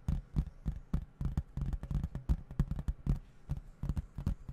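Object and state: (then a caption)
Plastic video game case. A hollow plastic video game case with printed artwork is held in both hands and tapped with the fingertips, then moved about close to the microphone. The taps come in a quick, uneven run of short, dull, low-pitched knocks that die away almost at once.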